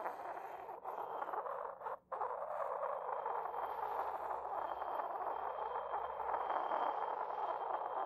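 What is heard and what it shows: A porcelain pestle rubs and taps the base of an inverted, hollow, white decorated porcelain mortar. The result is a steady, gritty scraping with a ringing midrange tone and a faint high whine, broken by a short near-silent pause around the two-second mark before the rubbing resumes.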